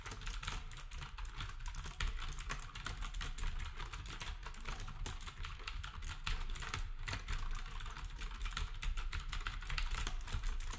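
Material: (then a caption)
Plastic. Fingertips type steadily on a black compact plastic typewriter-style keyboard with round plastic keycaps, while the other devices nearby stay untouched. A fast, continuous run of short, bright plastic clicks and taps fills the clip, each dying away almost instantly. A steady low rumble sits underneath.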